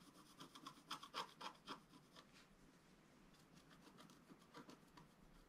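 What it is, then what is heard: Scratch art paper being scratched. A wooden stylus scratches the coating of a flat scratch art paper sheet lying on a table. It makes a quick run of dry, bright rasping strokes that are loudest in the first two seconds. The strokes then fade into softer, steady scratching.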